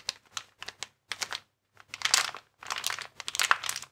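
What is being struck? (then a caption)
Inflated plastic air-column packaging bag. A transparent, air-filled plastic air column cushion bag with vertical air columns is held and squeezed with the fingers. It gives a few short, sharp crinkles, then longer, denser bursts of bright crackling.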